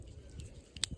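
A ball-shaped gall growing on a pine branch is tapped three times, giving short, dry, bright clicks that die away almost instantly over a low background rumble. The growth sounds solid and woody.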